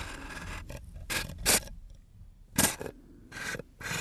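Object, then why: Small aluminum screw-top tin. A hand twists and rubs the screw lid of a small round aluminum screw-top tin against its threads, producing short, bright, gritty metallic scraping bursts separated by quieter gaps. Fingertips then handle the lid, adding soft rubbing and tapping between the scrapes.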